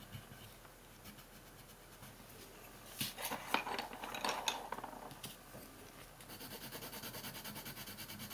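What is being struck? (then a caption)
Colored pencil on a paper sheet. A red or pink colored pencil makes fast shading strokes across a thin printed paper coloring sheet lying flat on a wooden table. Quiet, dry scratching of the lead builds into a denser, brighter burst of scraping in the middle, then settles into a quick, even run of back-and-forth strokes.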